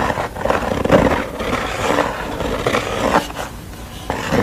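Long nails tap and scratch the wooden stretcher bars and the unpainted back of a canvas. The result is a continuous rough, mid-toned scraping with several sharper taps standing out. The sound is mostly mid-range with little high brightness.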